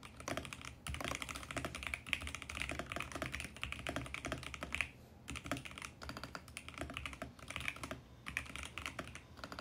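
A VGN X68 compact mechanical keyboard with purple and mint plastic keycaps is typed on fast and continuously by fingertips. The result is a dense, bright stream of short clacky key strikes with brief pauses between bursts, over a faint low hum.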